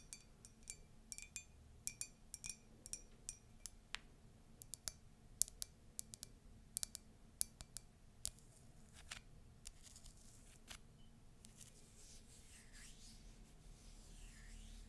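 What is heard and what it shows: Long nails tap the side and base of a tall, hollow, empty white ceramic latte mug with castle and icon prints, giving quick, bright clicks with a short ring. The taps come steadily through the first ten seconds, then fade into a soft, quiet hiss.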